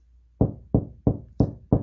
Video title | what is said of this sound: 우리집 벽에 내 손으로 시계와 액자를 걸어보자(feat.석고보드) | 통통통통통. 이런 벽이 석고보드나 나무입니다.